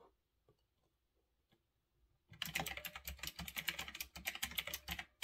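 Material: Plastic.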